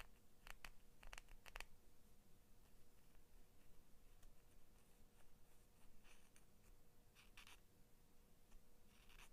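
A small pair of Crayola scissors with orange and blue plastic handles and a steel blade is held in both hands while long manicured nails tap and scratch the blade and handles. Quiet, bright clicks and brief scratchy strokes come in scattered clusters over a soft low rumble and a faint steady hum.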